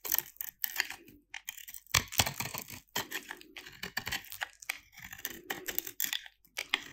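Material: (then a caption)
Soap. A metal utility-knife blade cuts and shaves a small solid piece of dry white soap with a little blue paint left on it. A rapid run of crisp, bright scraping and crunching strokes is heard. Crumbly, crunchy flakes come off.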